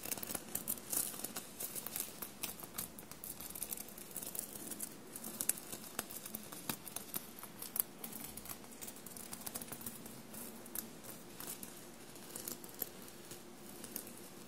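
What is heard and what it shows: Short blue-painted nails scratch a dark blue soft fabric shirt covered in small silver paillette studs, bunched on a table. Quiet, dense scratching and crinkling fills the clip, with many tiny bright clicks and ticks from the studs over a faint low rumble.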